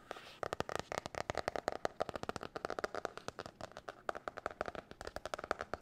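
Long nails tap and scratch rapidly on the cover and spiral of a blue marbled hard-cover spiral notebook held up in the air. About forty quick, dry clicks come in a fast, uneven stream, with brief scratchy rasps between them. The sound is crisp and mid-toned, with very little low end and almost no ring.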